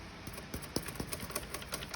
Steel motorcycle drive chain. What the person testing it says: when you hear like rattling like that, your O-rings are blown and it's time to put a new chain on